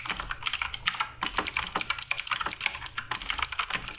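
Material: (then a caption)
Plastic. Continuous fingertip typing on the plastic keycaps of a black RGB Redragon K588 Broadsword mechanical keyboard. Rapid, bright, crisp clicks and clacks follow one another with very short decay, and there is little low-end thump.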